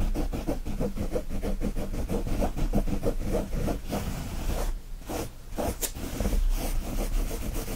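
Both hands scratch fast with fingertips and nails across the woven surface of a brown cotton kitchen towel with a gnome print, lying flat. It makes a steady, rhythmic, dull rasping that is heavy in the low end, with a brief lull near the middle before the quick scratching resumes.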